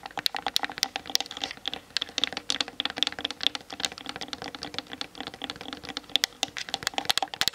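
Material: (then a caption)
Plastic. Long nails tap rapidly on the sides of a Canon DSLR camera with a hollow plastic body, mounted on a tripod. The result is a dense stream of sharp, dry clicks, each dying away almost at once, bright and high with almost no low end.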